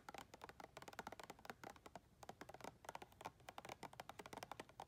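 Long red nails tap quickly on the side wall and ridged rim of a round clear plastic tub full of white soft items. About 29 short, dry plastic clicks with a hollow midrange tone around 785 Hz follow one another in a fast, uneven run, each dying away almost at once.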